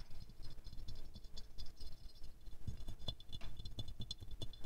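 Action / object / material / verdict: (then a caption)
scrape / glazed ceramic rose figurine / glazed ceramic / none. Medium-long fingernails quickly scratch and tap the glazed petals of a small silver-glazed ceramic rose ornament held in the hands. The result is a quiet, steady run of rapid clicks and scrapes, each dying away almost instantly, with a soft low rumble under bright, crisp ticks.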